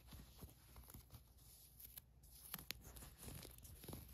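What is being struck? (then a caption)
Cotton fleece sweatshirt. Nails scratch the ribbed cuff of a green cotton fleece sweatshirt, then a hand rubs across its printed area. The result is a quiet, dry scratching and rustling with a soft low rumble underneath. A few sharp, bright ticks stand out near the middle.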